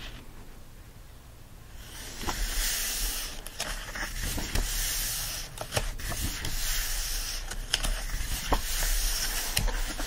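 Fingertips rub across the printed, illustrated paper pages of an open hardcover book lying flat, while the other hand holds the page edge. After about two seconds of near silence, a steady, bright, hissing scratch begins and swells and fades with each stroke. Small sharp ticks are scattered through the rubbing.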